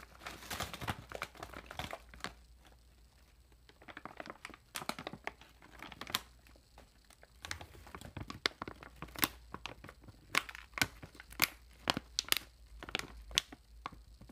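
A long nail scratches and crinkles the corner and seam of a metallized plastic chip bag with printed film. Sharp, bright crackles and scratchy rustles come in irregular bursts, with a brief quiet lull early on and denser, louder crinkles toward the end.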